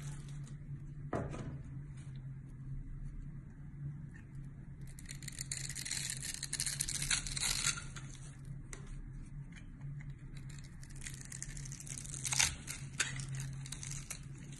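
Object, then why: Bar of soap. A small box-cutter blade scrapes across the scored face of a solid, hand-sized, dry pale green bar of soap held in one hand, tearing off crumbly shavings. Bright, crackly scratching comes in longer bursts over a steady low hum, with a sharp scrape standing out near the end.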